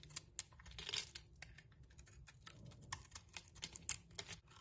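A metal blade scrapes shavings off a solid striped soap bar held in the hand. The result is a quiet run of crisp, dry scraping and crunching ticks, bright and sharp with almost no ring, over a low, soft rustle.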